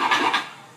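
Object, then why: Wrapped cardboard gift box holding a plastic peg toy. A wrapped gift box holding a Lite-Brite toy is shaken, and its contents rattle in two quick bursts. The rattle is a bright, clattery sound centered in the mid-to-high range, and it fades out within about half a second.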